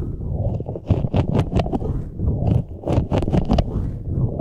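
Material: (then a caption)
Rubber. A large green, hollow, air-filled soft rubber puffer ball with flexible spikes is squeezed and rubbed with the fingertips of both hands. The result is a dense run of low, muffled rubbery squeaks and scrapes. Brief brighter rubs flicker above a continuous deep rumble.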